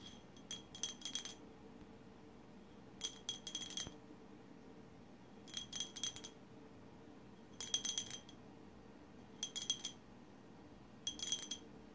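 A colorful glass bottle is tapped with long silver acrylic nails in six quick bursts of clicking taps. Each tap gives a bright, high glassy ring that dies away almost at once, with quiet gaps between the bursts.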